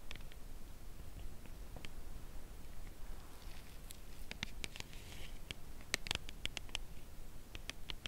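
Long nails tap the edge of a cardboard chocolate bar box that is held edge-on and turned. Light, dry, bright ticks come sparsely at first and then more often, each dying instantly, over a quiet low background rumble.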